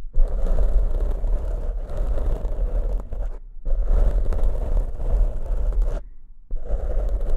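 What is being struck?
Foam microphone windscreen.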